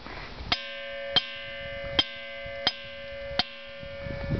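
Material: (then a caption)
Stone. At Ringing Rocks State Park, a boulder is struck five times with a hammer, each blow a sharp metallic clink. The hits blend into a sustained bell-like ring with steady tones from the low-mids up to about 3.2 kHz. The stone really rings, giving a clear metallic tone instead of a dull thud.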